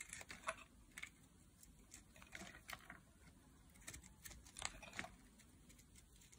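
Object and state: Dry bar soap being carved.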